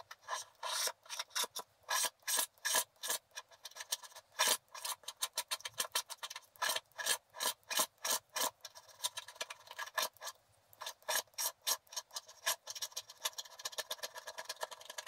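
A wooden stylus rubs and scrapes the coating off the right side of a flat, black-coated scratch art paper card. It makes a quick series of short, dry, rasping strokes, bright and hissy with almost no low end. The strokes come in uneven bursts, some louder and longer than others, with brief quiet gaps between them.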